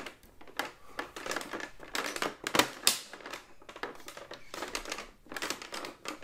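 A large hollow plastic AT-AT walker toy is tapped with fingertips on its body, head and leg, turned so its round plastic feet face the microphone. A quick, irregular run of light, dry clicks and knocks follows, with bright, crinkly hollow plastic tones that stop almost instantly.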